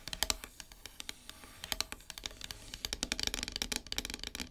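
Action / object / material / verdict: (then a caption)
tap / painted wooden heart-shaped plaque / painted wood / none. Long silver nails tap rapidly across the surface of a flat, solid, heart-shaped wooden plaque painted matte black. The taps come as quick, irregular bright clicks with very little low end. Each one dies away almost instantly, with no ringing.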